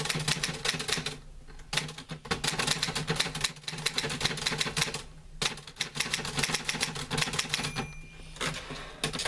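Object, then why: Metal manual typewriter. Fingertips type on the keys of a green-grey metal portable manual typewriter with paper loaded. Rapid, bright, sharp clacks come in bursts separated by brief pauses, over a steady low hum.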